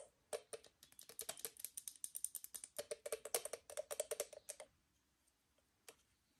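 An assembled, hollow octagonal aluminium moka pot, held over the stove, is tapped with long nails on its faceted lid and body. A quick, uneven run of light, bright clicking taps with a faint hollow metallic tone around 500 Hz goes on for about four and a half seconds, then trails off into a few scattered single taps. Each tap dies away almost at once.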